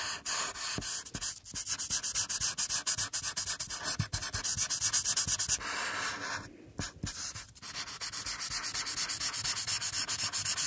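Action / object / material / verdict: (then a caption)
scrape / felt-tip marker on paper / paper / none. A felt-tip marker rubs across a flat paper coloring sheet on a table in quick, repeated coloring strokes over the cheek and forehead area, with the free hand resting flat on the page. The result is a bright, dry, scratchy rubbing with a steady back-and-forth rhythm and soft low taps as strokes turn. A short lull midway dips the sound before the strokes resume.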